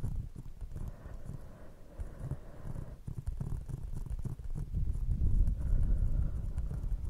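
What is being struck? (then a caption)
Paper cup. Long painted nail tips tap on an empty brown paper cardboard cup held over a fluffy microphone, while a second cup sits untouched. The taps come as muffled, deep, bassy thumps in a loose, uneven rhythm, each dying out almost instantly. They grow louder and fuller toward the end.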